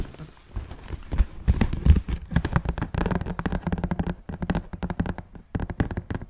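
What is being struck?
Cardboard shoebox.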